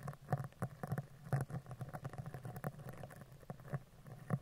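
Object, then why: Woven metal microphone grille. A dark spoolie brush is scratched down the right side and then the left side of a hollow woven metal microphone mesh grille. It makes a quick, uneven patter of soft, dry scratches with a low, hollow tone underneath, each stroke dying away almost at once.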